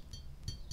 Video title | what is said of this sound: Help you avoid imitation cloisonné! Don't buy fakes! | do you hear that that's like a ting ting